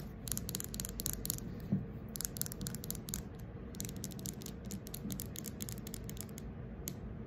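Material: Wood.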